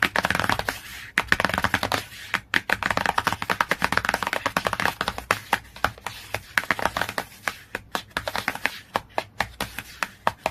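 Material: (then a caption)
Cardboard. Fingernails tap and scratch quickly across the glossy cardboard cover of a hardcover book. The result is a dense run of sharp, bright clicks with short scratchy rasps between them. Each tap dies away almost at once, with little low end.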